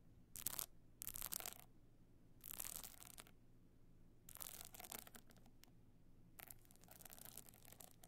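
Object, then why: Box clutch covered in small stone chips. A box clutch covered in small stone and shell chips is held on end while long nails scratch and tap across the chips. Five bursts of bright, gritty scratching stand out over a low steady hum, with quieter pauses between them.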